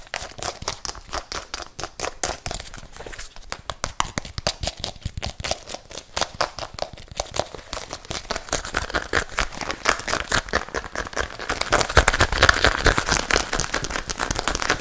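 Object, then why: Athletic sneaker, synthetic upper and rubber sole. A single hollow, empty white, pink and black athletic sneaker with a synthetic upper and rubber sole is held in both hands near the microphone. It is tapped and scratched quickly with fingertips and nails on the sole and upper. The result is a dense, irregular stream of short dry clicks and scratchy crinkling that grows louder and brighter near the end.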